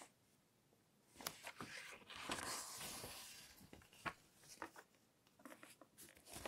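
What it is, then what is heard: Glossy paper magazine. A large glossy-paper fashion magazine lies open on a table while fingertips with long nails rub flat across its pages, then the pages are turned by hand. After a near-silent start, soft bright swishing rises into a sustained papery rub, followed by a string of sharp, crisp flicks and rustles as the pages turn. The sound stays quiet and airy throughout, with almost no low end.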